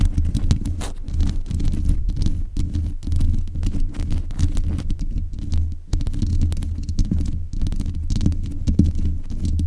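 Long nails scratch and tap the hollow mesh grille of a black metal desk microphone. The result is a steady, close, boomy low rumble around 82 Hz, packed with dense scratching and quick muffled thumps, with almost nothing bright or high above it.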